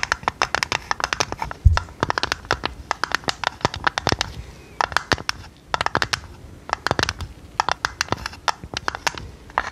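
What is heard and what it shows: A hollow, printed purple tinplate tea canister with its lid on is tapped and scratched with long red nails. Rapid, crisp clicks and taps come in quick bursts with short pauses, bright and thin, and each one dies away quickly. A single deeper thump sounds near the two-second mark.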